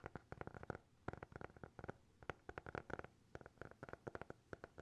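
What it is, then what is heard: Hardcover notebook tapped. A small, closed, solid black hardcover notebook with a TikTok logo is held close to the mics and tapped and scratched with fingertips and nails. Rapid clusters of soft, dry taps come in quick bursts with pauses in between. Each hit has a muffled low thump and a hollow midrange knock that stops instantly with no ring.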